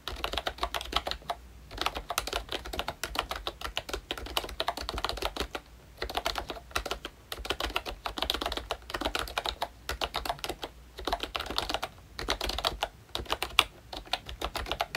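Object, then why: Plastic membrane keyboard. Both hands tap with their fingertips on a pink plastic Royche Disney Mickey Mouse retro membrane keyboard with round black keycaps. The typing makes rapid, soft, bright plastic clicks with very little ring, broken by a few brief pauses between bursts.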